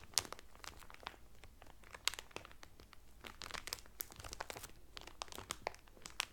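Fingertips with medium painted nails press and crinkle the loose, thin clear cellophane sealing a folded blue terry Carnival towel lying flat on a table. The result is a dense run of bright, crisp crackles and snaps with no ring, scattered irregularly across the clip at a quiet level.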